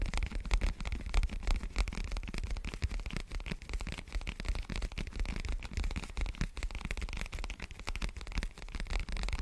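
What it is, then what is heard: Foam microphone windscreen. Fingertips scratch and rub a large, dark, soft and porous foam windscreen covering a microphone, held with both hands. The result is a dense, continuous scratchy rustle with a heavy low rumble and rapid crackling bursts throughout, plus a faint bright hiss on top.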